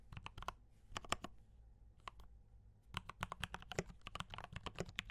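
Fingertips type steadily on a compact D84 mechanical keyboard with brown switches and cream and red plastic keycaps, producing about 26 short, bright clacks with almost no ring. The strokes come in quick bursts, with a pause in the middle, over a faint low hum.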